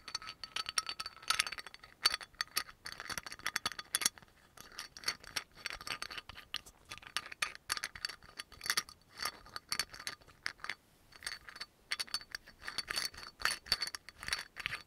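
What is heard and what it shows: Fingernails rapidly tap and rattle the black cap on top of a dark brown amber glass oil bottle with a yellow label. The result is a fast, continuous stream of bright, dry clicks and clinks that stop almost at once, with a faint high ring and almost no low end.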